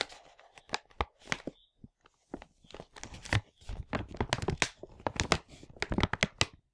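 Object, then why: Plastic packaging bag full of small parts. A large printed plastic LEGO Hero Factory 44022 packaging bag, full of parts, is turned over in both hands while the fingers crinkle and rub it. Sharp, irregular crackling bursts with bright, papery edges come in quick clusters over faint rustling, with a little low thump as the parts shift inside.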